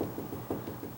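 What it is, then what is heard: Solid section of a wooden door. Knuckles rap along a tall, sagging wooden door to find where it is solid, producing dull, low-pitched knocks with little high-frequency content and a short decay. The knocks sound solid at this point, showing the door is solid from here up.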